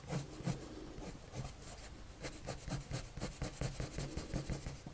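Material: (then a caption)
Paper. A blue colored pencil rubs slowly across a white paper drawing sheet on a table while drawing. Soft, repeated scratchy strokes come in short bursts, each with a faint low thump and a bright, papery rasp. The strokes are quiet and close.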